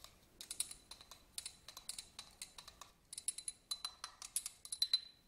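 A small, hollow, empty yellow glass votive candle holder with a studded surface is scratched and tapped with a black pen-like tool. Quick, bright clicks and ticks come in uneven bursts, with short scratchy rasps between them. Each hit dies away almost instantly, and a faint high glassy ring sometimes lingers.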